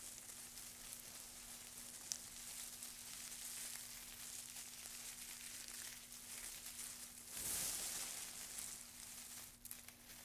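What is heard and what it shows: Two gloved hands rub, scratch and crush a loose pile of dry wood shavings, making a quiet, bright, continuous crackling rustle. A louder crunching swell comes near the end, over a faint steady low hum.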